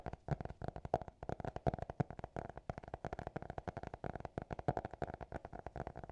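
Fingertips and nails tap and scratch on a closed small black notebook with a hard cover, seen close up. A quiet, rapid stream of dry, short taps with soft scratching runs throughout, each tap dying instantly. A steady faint tone around 700 Hz sits underneath.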